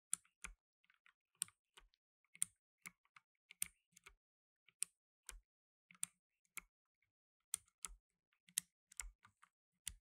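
Blue nitrile-gloved fingertips type on a black tenkeyless mechanical keyboard with plastic keycaps. About 23 sharp, bright, high-pitched key clicks come at an irregular pace, each dying away almost instantly, with faint low thumps under some strokes. The overall level is quiet, with short silences between the keystrokes.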